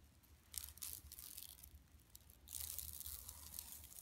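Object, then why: Woven plastic mesh shopping bag. Long nails on both hands scratch across a flat, empty yellow woven plastic mesh tote bag lying on carpet. The result is quiet, bright, crackly scratching in two main stretches, with a faint low hum running underneath.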